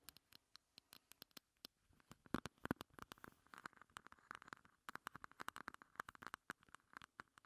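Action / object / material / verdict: tap / hard plastic heart-shaped compact / plastic / none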